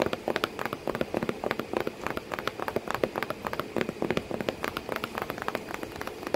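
A cardboard box with a cat sitting inside it is tapped continuously and quickly. The dozens of short, dry taps sit mostly in the midrange with a hollow tone and die away almost at once. A faint steady hiss runs underneath, sounding a bit like rain on a surface.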